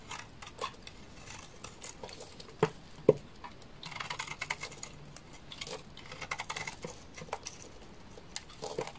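A solid rectangular beige bar of dry laundry soap is held in hand and shaved and scraped with a black utility knife blade, sending curly shavings falling. Quick, irregular scratchy scrapes and soft crumbly patter run throughout, with two sharper cuts standing out near the start.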